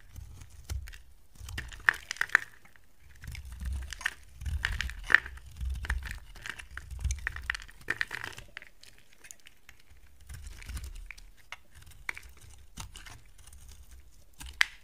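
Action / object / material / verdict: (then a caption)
scrape / bar of soap / soap / none. A hand with long dark nails holds a solid, dry yellow bar of soap while a box cutter blade carves chunks and curls off it. Crisp scraping and crunching cuts come in irregular bursts, with sharp bright clicks and a soft low thump under the strokes. Quieter pauses fall between the bursts.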